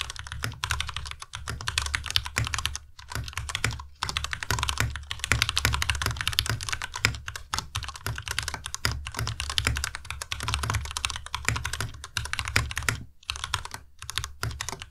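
A white tenkeyless Ducky Miya Pro mechanical keyboard with plastic keycaps is typed on rapidly with the fingertips of both hands. Dense, steady clacking keystrokes combine bright clicks with a low thump and very short decay, pausing briefly a few times.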